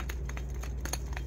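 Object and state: Worn, loose wheel bearing.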